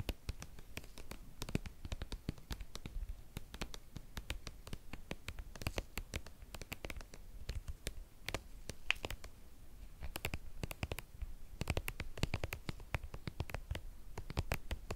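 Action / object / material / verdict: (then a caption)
tap / soft plastic cream tube / plastic / none. A hand-sized, white soft plastic skincare cream tube, hollow and partly full, is held in both hands and tapped and scratched with long painted nails. The result is a steady run of quick, dry clicks and taps mixed with soft scratching, with dull low thumps under brighter ticks that stop almost at once. The sound stays quiet and even throughout.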